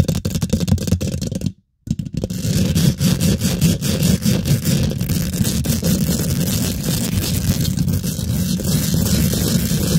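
Long pink glitter nail tips rest on a hollow steel wire-mesh microphone head, scratching and tapping it quickly. The result is a dense, boomy, low-heavy rasp with rapid irregular ticks, broken by a brief silence just before the two-second mark, then continuing steadily to the end.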